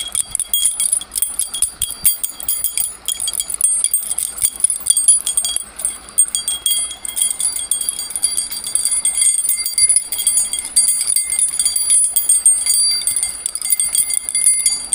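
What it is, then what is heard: Shaken bundle of metal keys on a ring. A bunch of long, thin, solid metal bars or keys hanging on a steel split ring is held up by the fingertips close to the mic and shaken continuously. The pieces clink against each other in bright, chime-like jingles with very short ringing tones, high in pitch and with almost no low end.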